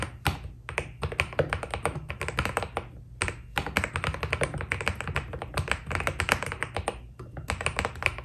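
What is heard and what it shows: Steady fingertip typing with both hands on a white Keydous NJ80 mechanical keyboard with PBT keycaps produces a rapid stream of short, crisp taps with bright clacks. Brief pauses fall near 3 and 7 seconds, and a steady low hum runs underneath.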